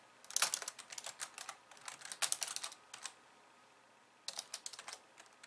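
A pink plastic slim keyboard with white keys is typed on with two hands and long nails. Fast, bright, clicky keystrokes come in bursts, with a pause of about a second before a final flurry.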